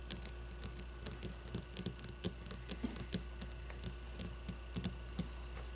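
A solid leather baseball is held and turned while long, blue-painted nails scratch and tap across its leather and stitching. The result is a quiet, uneven run of dry, bright clicks and short scratches that stop almost instantly, over a steady low hum.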